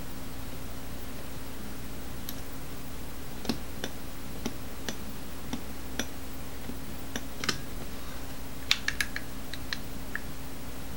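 A finger turns and taps the dial of a small teal-anodized metal Masterlock combination padlock with a steel shackle as it rests on and is held over a table. Sparse, short, bright clicks spread irregularly over a steady low hum, with the loudest cluster of clicks near the end.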